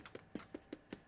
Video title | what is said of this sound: Rachel Khoo's No Knead Bread | If you tap it, sounds hollow.